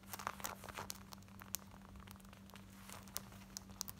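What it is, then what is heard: Cotton denim jeans. Long white painted nails quickly scratch light-wash, distressed cotton denim jeans worn on the body, working around the zip fly and waistband near a ripped patch on the thigh. The result is fast, dry, crinkly scratching with sharp, bright bursts over a faint, steady low hum.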